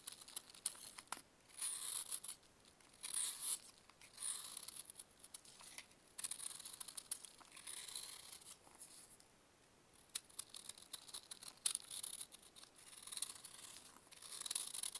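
A metal knife carves and scrapes chunks off a solid pressed baking soda block held in a purple-gloved hand. Quiet, crisp, bright scraping and crumbly crunching bursts come and go, with almost no low end and a brief near-silent pause partway through.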